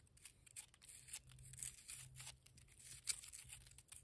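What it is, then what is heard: Wet cement mortar. Long nails and fingertips scratch and tap on a heap of grey, damp cement mortar with a rough, lumpy surface. The result is quiet, bright, dry scraping and gritty crackling with short taps, plus a faint low hum underneath.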